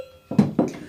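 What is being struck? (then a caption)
Large metal sheep bell (clavelat). A large 15 cm metal clavelat sheep bell, meant for mountain transhumance, is shaken briefly. It gives three quick, dull, low clanks centred around 200 Hz, each dying away quickly with little ring.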